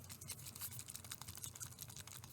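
A small, unopened roll-on bottle of nick-care liquid (water, alcohol, witch hazel and aluminum sulfate) with a screw cap and applicator ball is shaken close to the microphone. A quick run of light, crisp clicking and sloshing taps sounds over a steady low hum, confirming there is liquid inside.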